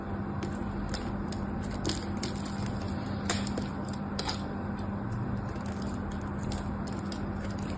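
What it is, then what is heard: Bar of soap being cut and scraped. A knife blade cuts and scrapes slices from the face of a solid mauve-purple bar of soap held in the hands. Soft, crisp scraping and crackly cutting clicks repeat steadily, with a few sharper bright snaps standing out over a constant low hum.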